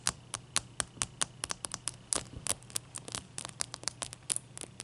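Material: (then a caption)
Ice. A large, clear, solid ice cube is scratched with long nails, then lifted and scratched in the hand. The result is a quick run of short, bright, dry scratching clicks with almost no ring, over a faint low hum.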